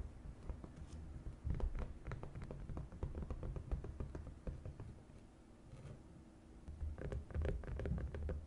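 A flat green silicone whale-shaped divided suction plate mat is held upright and tapped with long acrylic nails along its top edge and face. The result is a quick, irregular stream of soft, dull taps and light patters with a low, thuddy body and almost no ring. The tapping eases into a quieter stretch in the middle before picking up again toward the end.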